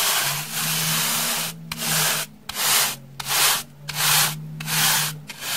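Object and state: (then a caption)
Dry floral foam block brushed. A solid, porous rectangular slab of beige dry floral foam, held in the hand, is brushed with a pink plastic brush with soft bristles. It makes a run of bright, dry, hissy rubbing strokes in a fairly regular rhythm, with short pauses between them and a faint low hum underneath.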